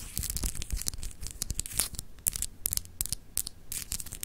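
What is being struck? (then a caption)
Small solid glass globe paperweight with etched surface. Long acrylic nails scratch quickly across a small, solid, clear glass globe paperweight etched with continents. The result is a rapid run of dry, bright, tearing scratches with short, clicky bursts and almost no ring, over a faint low rumble.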